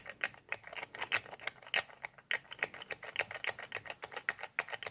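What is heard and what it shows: Fingertips repeatedly twist and click the white plastic nozzle cap of a small white plastic squeeze bottle with a red label. Around thirty short, dry, bright plastic clicks and ticks come in an uneven, quick rhythm, each dying away almost instantly, with no low end.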